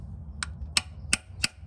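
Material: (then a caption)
Metal. A brass drift that overlaps onto the seal housing taps a rubber and metal rear main seal into its metal housing on an FJ Cruiser. Four light, sharp metallic taps ring out with bright high-frequency clicks and almost no ring. The solid sound shows the seal is seated flush against the housing.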